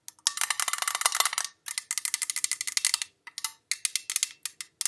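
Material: Metal.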